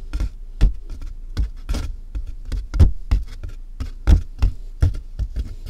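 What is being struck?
Large cardboard box.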